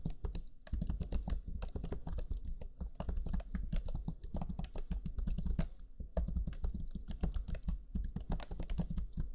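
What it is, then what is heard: Plastic laptop keyboard being typed on. Fingertips of both hands type rapidly on the black chiclet keyboard of a Lenovo Legion 5 laptop, pressing its low-profile plastic keys. A steady, dense stream of short, dull key taps follows, each dying away almost at once, with most of the energy in a low thump rather than a bright click.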